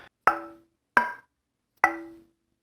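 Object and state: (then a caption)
Wenge and walnut guitar neck with ebony fretboard, tap tone. A wenge and walnut guitar neck with an ebony fretboard and a truss rod is tap-tested three times. Each tap gives a short, woody knock with a clear tonal ring around 1 kHz and lower partials that fade over about half a second. It sounds noticeably different from a maple and walnut neck.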